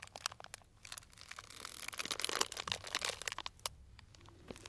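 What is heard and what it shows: A small, tied, clear plastic cellophane bag full of dried tea pieces is pinched and crinkled with fingertips. Bright, crisp crinkles and sharp little crackles come in an irregular rhythm, swelling into a denser, louder rustle in the middle before thinning back to scattered crinkles.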